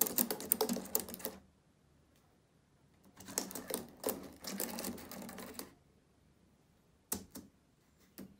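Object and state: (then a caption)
Plastic laptop keyboard. Fingertips type and tap on the plastic keys of a black laptop keyboard, producing quick, bright clicking in bursts. A flurry of keystrokes runs for about a second, pauses, then returns in a longer run of roughly two and a half seconds. Near the end come a few isolated taps.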